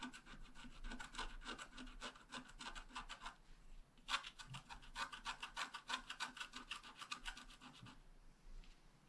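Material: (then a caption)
Wax paper. A wooden stylus scratches details of a bicycle frame and flowers into a flat, wax-coated scratch-art paper card. Quick, bright rasping strokes repeat in a loose rhythm, pause briefly near the four-second mark, then resume and thin out toward the end.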